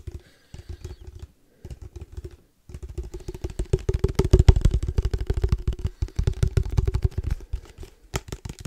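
Fingertips tap rapidly on a case for padel balls. The dull, hollow-sounding taps come in short bursts separated by brief pauses. From about 2.7 seconds they run continuously, grow louder in the middle, then ease off before a final sharper tap.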